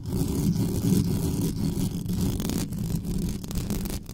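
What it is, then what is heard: Metal microphone grille being scratched. Long nails rapidly scratch and tap the hollow metal mesh grille of a large black condenser microphone on a stand, with no foam cover on it. The result is a dense, continuous scraping rumble, heavy in the low end around 180 Hz, with little high-frequency content and no distinct separate hits.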